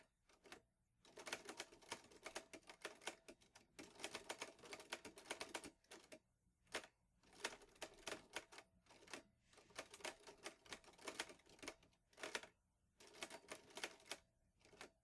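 Fingertips type steadily on the keys of a vintage teal metal Underwood Olivetti Lettera 22 portable typewriter with paper loaded. Bursts of rapid, crisp, bright clacks come in runs separated by brief pauses, each strike snapping off almost instantly with very little low end.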